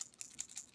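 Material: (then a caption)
Glass. A cobalt blue glass lotion bottle with a small shaker bead inside is shaken. Four quick, bright clicks sound as the bead rattles against the glass, showing the bead works well.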